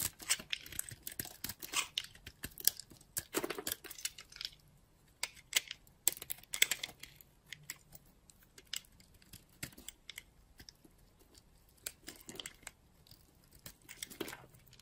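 A solid white chunk of dry soap, held in fingers with long nails, is scraped and cut with a utility-knife blade, shaving flakes off it. The sound is a quiet run of crisp, bright scratching and crackling, with dense clusters of sharp dry clicks and brief scrapes that stop dead with no ring and almost no low end.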